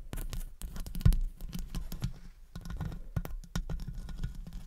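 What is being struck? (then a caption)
Metal wire-mesh microphone grille tapped with long nails. Long acrylic nails tap rapidly and scratch around the hollow metal wire-mesh grille of a studio condenser microphone. The result is a quick, uneven run of dull, bass-heavy thumps layered with scratchy, brushing rasps, with a few sharper clicks that stop almost at once.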